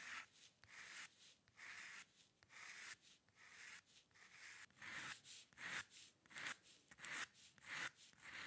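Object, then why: Steel pen nib on drawing paper. A steel-nib dip pen with ink scratches dense hair lines across a flat sheet of white drawing paper resting on a dark table. Eleven separate dry, bright scratching strokes follow one another at a steady drawing pace, each a short hiss-like rasp that stops cleanly between lines.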